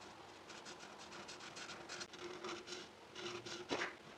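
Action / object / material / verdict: scrape / paper sheet rubbed with a felt-tip marker / paper / none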